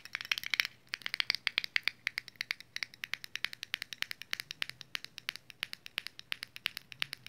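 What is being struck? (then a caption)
Small round metal lip balm tin. Long nails tap and scratch a small round red metal Vaseline Lip Therapy tin on its lid, its side and its barcode-labelled bottom. Dozens of quick, bright, dry clicks and light scratches sound in an uneven stream, each dying away almost instantly with a thin tinny ring centered around 2 kHz and almost no low end.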